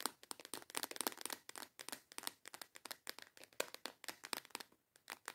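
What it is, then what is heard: Clear plastic box of nail tips. A small transparent plastic storage box with snap clasps, full of colorful false nail tips, is held in both hands and tapped and scratched with long yellow acrylic nails. About 30 quick, dry, bright clicks and scratches follow in an irregular rapid stream, each stopping almost instantly with no low end.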